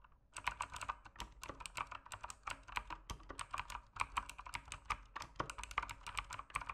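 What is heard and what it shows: Fingertips type steadily on an RGB-backlit mechanical keyboard with plastic keycaps, producing a continuous stream of quick, crisp clicks and clacks. Each keystroke is a short, sharp tick centered in the midrange with bright edges and almost no ring, and the strokes overlap into an uneven, busy typing rhythm.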